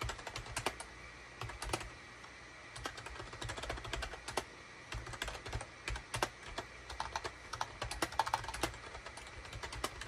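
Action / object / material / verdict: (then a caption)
tap / plastic computer keyboard / plastic / none. Both hands type rapidly with their fingertips on a gray SHIPADOO K600 full-size wired USB keyboard, which has a hollow gray plastic case and cream, gray and orange plastic keycaps and sits on a desk mat. The result is a steady stream of short, dry, clacky key presses with a bright top and almost no ring, arriving in quick bursts with brief pauses. A faint low hum sits underneath.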